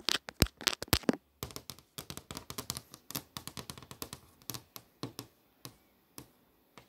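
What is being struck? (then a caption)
Glass touchscreen display. Long nails tap rapidly on the movie tiles of a flat glass touchscreen display. Dozens of short, dry, bright clicks come in a dense burst during the first second, then continue as a steadier run of taps that thins out toward the end.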